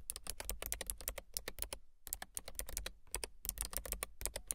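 Long silver nails type on a low-profile mechanical keyboard with a gray frame and white and gray plastic keycaps. Rapid, bright plastic key taps come in quick runs with a brief pause in the middle, each tap short and dry with little ring.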